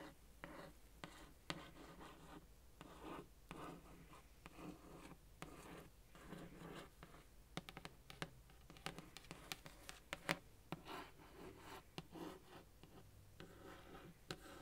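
A long orange nail taps and scratches the illustrated lid of a printed cardboard subscription box, medium sized and hollow. Quiet, dry scratching strokes are broken by many short, sharp taps that die away almost instantly.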